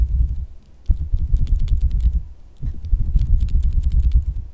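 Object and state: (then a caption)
Soft silicone squishy toy. A pink, solid, soft silicone squishy dog toy is tapped with fingertips and nails, first while held in the palm and then while lying on fabric. Dull, low, muffled thumps mix with faint, bright nail ticks in two busy bursts of quick, irregular tapping, with a brief quieter lull between them.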